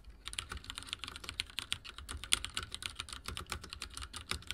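Fingertips of both hands rapidly press the dark plastic keycaps of a full-size backlit mechanical keyboard with linear switches, resting on a wooden desk. The result is a fast, steady stream of short, bright typing clacks that stop almost instantly, with very little low-end thump.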